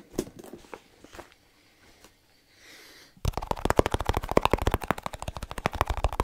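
A small snus container is tapped quickly with fingertips. A few soft, scattered taps and faint rustling come first, then a dense run of rapid, dry, hollow taps fills the rest of the clip.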